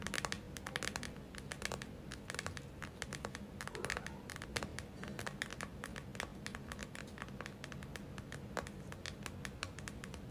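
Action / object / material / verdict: scrape / gel-filled plastic eye mask / plastic / none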